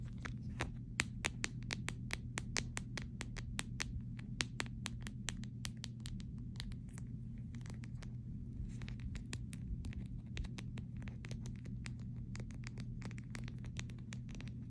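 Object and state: Clear plastic phone case.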